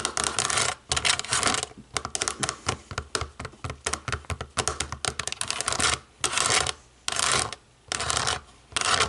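Long nails tap rapidly and unevenly on the rubber buttons of a small, hollow, black plastic DVD remote control. The sound is dense, bright clicking and ticking, broken up by longer sustained scratchy bursts and brief quiet gaps.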